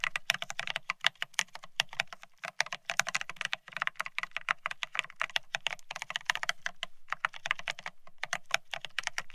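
Fingertips type fast on a beige plastic split ergonomic keyboard, producing a dense run of sharp, bright clicky taps with almost no ring. A faint low hum sits steadily underneath the typing.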